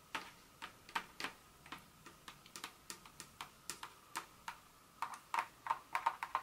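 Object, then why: Broken dark chocolate pieces. Long nails tap and scratch on and among small, solid pieces of a broken dark chocolate bar scattered on a countertop. The sounds are quick, uneven, dry ticking clicks with a bright edge and almost no ring, growing denser toward the end. Finally the nails hover just above the pile.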